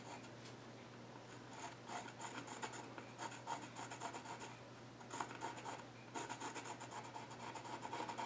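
A yellow graphite pencil scratches lines across the flat top of a solid, dark-stained wooden child's stool. Quick, raspy strokes come in bright, papery bursts, with brief quieter gaps between them. A steady low hum sits underneath throughout.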